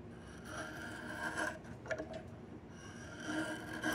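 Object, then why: Peeled diamond willow stick. A yellow-handled chisel scrapes repeatedly along a solid, peeled diamond willow stick. The result is a steady, raspy scraping with a tonal squeal around 1.6 kHz and bright hiss; it swells with each stroke and grows loudest near the end.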